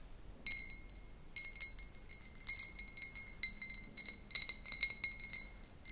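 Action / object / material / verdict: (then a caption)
tap / cut crystal glass tumbler / glass / none. A small, clear cut crystal glass tumbler with a faceted pattern, hollow and empty, is held in the hands and tapped with long pink nails. It gives quick, bright glassy clinks, with steady ringing tones around 2 kHz and higher overtones. The taps come in scattered bursts over a quiet background.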